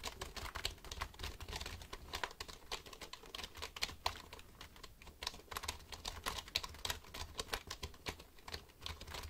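Fingertips tap rapidly on the keys of a black plastic computer keyboard held near the microphone. The result is a steady stream of quick, bright plastic clicks that stop dead, over a faint low rumble.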